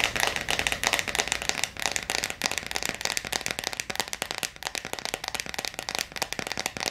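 Long acrylic nails tap and scratch fast on the clear plastic lid of a clear plastic jar full of blue water beads. A dense, rapid stream of bright, sharp clicks and scratchy rasps crackles on with almost no low end, each tap dying away almost instantly.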